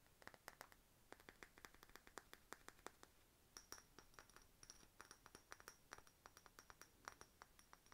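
Long nails tap and scratch over the faceted sides of a hollow cut-glass decorative bottle with a bird stopper. The result is a quick, steady run of soft, short, bright glassy clicks and clinks, centered around 1.2 kHz, with faint scraping between them and almost no ring after each tap.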